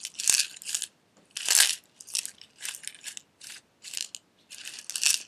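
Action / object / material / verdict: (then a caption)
shake / glass jar with metal lid / glass / none. A small clear glass jar with a silver metal screw lid and loose red pieces inside is turned in the hands, tapped with fingernails and shaken. Short bursts of bright, dry rattling and clicking come in quick clusters, separated by brief silences. There is almost no low end.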